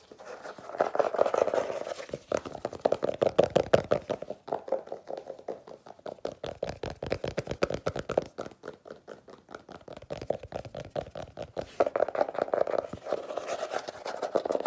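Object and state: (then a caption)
Paper-covered hardcover notebook. Long nails of both hands rapidly scratch and tap the cover of a solid, illustrated hardcover notebook with a paper cover over cardboard boards. A dense stream of short, dry clicks and raspy scratches with a papery midrange tone rises and falls in bursts, each tap dying away almost instantly.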